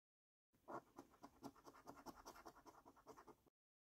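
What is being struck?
Paper scratch card with latex coating.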